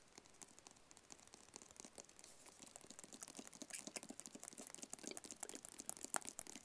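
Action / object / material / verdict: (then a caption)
tap / small rigid cardboard box / cardboard / none. A small, hollow, white rigid cardboard product box is tapped with fingertips and nails held close to the mic. The result is a rapid, dense run of quiet, dry, bright clicks and crinkly taps with almost no low end, growing slightly louder and busier toward the end.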